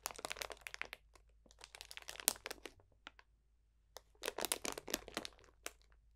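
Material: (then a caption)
Plastic. A clear cellophane bag full of dried potpourri botanicals is pressed and crunched with the fingertips. Dense bursts of dry, bright crinkling and crackling come in two clusters separated by a quieter pause, with only faint scattered crackles in between.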